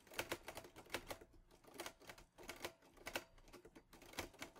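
Fingertips of both hands type on the keys of a green metal Underwood Olivetti Lettera 22 portable manual typewriter. It makes a quick, uneven run of sharp mechanical key and type-bar strikes that snap bright and die away almost at once, with little low end.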